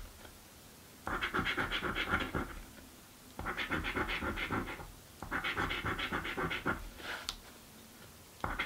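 A coin scratches a thin, flat blue cardboard birthday scratch-off lottery ticket, held with fingertips on a dark table. Three bursts of rapid, gritty scraping come and go, with quiet pauses between them. A brief sharp scrape and the start of another burst follow at the end.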